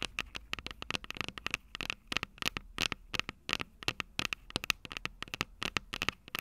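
Long purple nails scratch and rub the metal microphone capsules of an upright Tascam DR-05 recorder. The result is a rapid, irregular run of sharp, dry clicks and scrapes that stop almost instantly, bright and crackly with a resonant tone near 2.6 kHz and very little low end.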